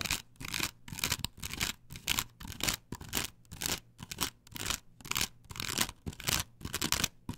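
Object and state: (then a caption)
Plastic stencil on wood being scratched. Long pointed nails, held like claws, scratch aggressively across a flat perforated plastic stencil template glued to a wooden board. The result is a run of bright, rasping strokes, about two per second at an uneven pace, each separated by short gaps.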